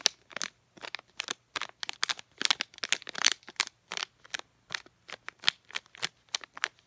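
A small sealed DenTek packet of clear and printed plastic holding floss picks is crinkled and tapped with long painted nails. A quick run of short, dry, bright crackling taps and crinkles follows, each dying away almost instantly, with brief silences between them.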